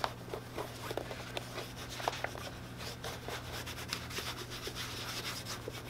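A hand rubs a cloth over the upper of a tan leather hollow boot, making a soft, continuous brushing and swishing sound. Small scuffs and light clicks break through a steady low hum, and the level stays fairly even throughout.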